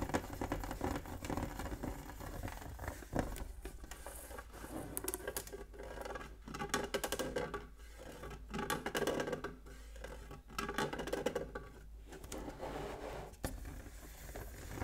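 Fingertips tap and scratch the lid of a closed, hollow, octagonal printed metal Pokémon tin (Hoenn Power Blaziken-EX) as it is turned on a wooden table. The result is a dense run of quick, dry, patter-like taps and scratchy rubs with short, dull metallic ring, mostly low-mid in tone. The taps come in bursts separated by brief quieter stretches.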